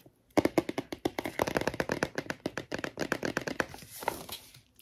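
Long nails tap and scratch the small black nose texture patch on the lion page of an open, thick cardboard touch-and-feel board book. A quick, steady run of short, dry clicking taps follows, each dying away at once, with a brief rougher scratch near the end.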